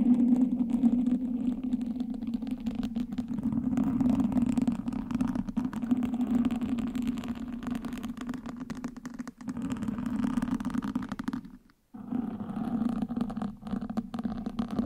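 Wooden sticks held in both hands scratch and poke the surface of a black foam windscreen on a microphone. The result is a dense, continuous scratchy rustle over a steady low droning band, with a brief near-silent break just before the 12-second mark before the scratching resumes.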